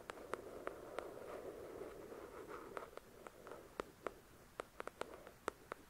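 Long pointed acrylic nails tap and scratch the glossy card front cover of a thick paperback novel lying flat on a white cloth. A soft, continuous scratching rasp fills the first half, punctuated by sharp, short clicky taps. It then thins to quiet gaps between the crisp nail taps.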